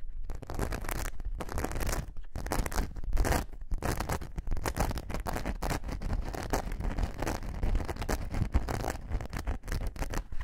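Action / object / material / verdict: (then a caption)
scrape / glitter foam craft sheet / foam / none. Long nails scratch the rough glitter surface of a thin glitter foam craft sheet held upright. The result is a dense run of dry, rasping scrapes with brief pauses between strokes, heavy in low rumble, with a faint bright hiss on top.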